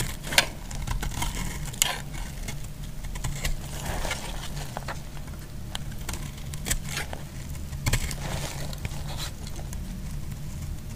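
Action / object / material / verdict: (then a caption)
scrape / bar soap cut with a metal blade / soap / none. A remaining solid piece of orange bar soap is shaved with a metal blade. Dry scraping strokes and crisp clicks ride over a steady low rumble. The sharpest clicks come near the start and just before two seconds.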